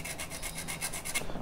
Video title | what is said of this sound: DASAR SENI MUSIK - PODCAST GURU SENI - UNSUR MUSIK #VISUALAUDIO #PAKRAMA | bunyi besi yang ini tripod yang saya gesek-gesek besinya